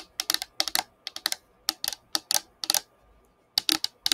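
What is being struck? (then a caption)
Plastic drinking tumbler. Long painted fingernails tap and scratch a hollow, colorful patterned plastic drinking tumbler (Igloo-style, about 20 cm tall), held up in both hands, empty or nearly empty and tilted toward the microphone. Quick, dry, bright clicks come in short bursts separated by brief pauses. Each click stops almost instantly with no ring, much like typing on a keyboard.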